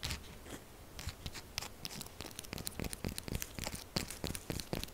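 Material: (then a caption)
Soap. A solid pink-purple bar of soap is held and scratched with long acrylic nails, producing a quick, aggressive run of dry, crinkly scraping and tearing sounds. Many short, bright scratches come in dense clusters over a low rumble.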